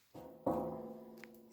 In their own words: Si je cogne dessus, vous verrez. C'est bien un bidon, ça résonne encore.